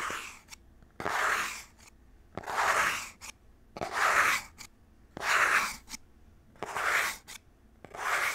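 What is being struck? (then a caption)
Printed cardboard box. Fingernails rub and scratch across the front of a small printed cardboard game controller box held in both hands. Seven dry, bright scratching passes come at a steady, unhurried pace, each ending in a short tick, with near silence between them.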